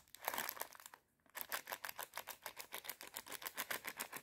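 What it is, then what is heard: Plastic bag of popcorn kernels. Long red nails crinkle and scratch a small clear plastic bag full of dry popcorn kernels held in both hands, making a bright, rustling burst. After a short silence comes a fast, steady run of crisp, quiet taps on the bag, each with a dry crackle and no low rumble.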